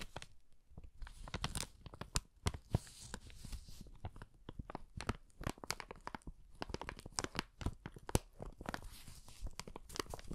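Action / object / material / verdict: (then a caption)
scrape / kraft paper bag with handles / paper / none. An empty brown kraft paper bag with handles is held in both hands while fingertips scratch and rub the paper and its handle. The result is a dense run of quick, dry crinkles and scratchy taps over a low rustling rumble, with brief bright flicks of crackle throughout.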